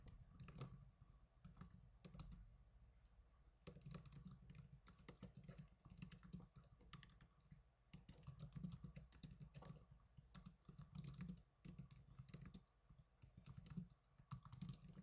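Fast typing with fingertips and blue nails on the plastic keys of a small black plastic netbook. It makes a dense, steady stream of short, bright plastic clicks over a soft low thump, with brief lulls between bursts.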